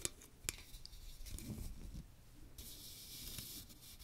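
A small strainer with a fine metal mesh dome and a teal plastic rim is held over a microphone while fingernails tap and scratch the mesh. Sharp, quickly fading ticks and light taps over a low rumble give way to a steady, bright, hissing scrape in the second half.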